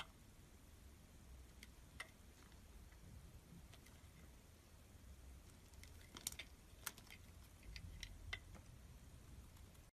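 A solid green translucent oval glycerin soap bar, held in the hand, is shaved with a snap-off utility blade that peels off thin ribbons. Soft, sparse scraping ticks and bright little clicks come out over a quiet low rumble, growing busier and a bit louder toward the end.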